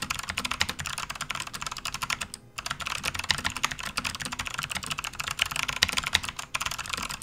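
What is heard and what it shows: Fast, continuous typing with the fingertips of both hands on a full-size, RGB-backlit, plastic membrane Hexgears gaming keyboard resting on a desk mat. The key presses are short, bright clicks with very little low end. They blur into a steady stream, with one brief pause about two and a half seconds in.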